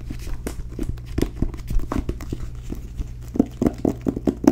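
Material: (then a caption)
Cloth, board. Long nails tap on the cover of a solid, blue, cloth-bound hardcover book with gold lettering. The result is a run of soft, dull, low taps with a muted body around 280 Hz and almost no ring, growing sharper and more spaced toward the end.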